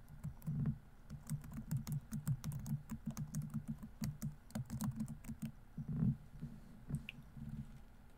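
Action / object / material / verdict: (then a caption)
tap / plastic laptop keyboard keys / plastic / none. Both hands type continuously with their fingertips on a laptop keyboard with plastic keys, producing a steady stream of quick, soft clicks. Each keystroke has a dull low thud with a faint bright tick on top, and the keys stop almost instantly. One heavier press near the end stands out slightly louder than the rest.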